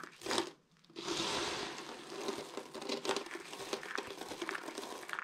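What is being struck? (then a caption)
Soap flakes. Hands with purple nails scoop small crushed dry green and white soap flakes from a large pile on a table and squeeze them between cupped palms. A brief crunch is followed by a short pause, then dense, bright, crumbly crackling continues steadily to the end.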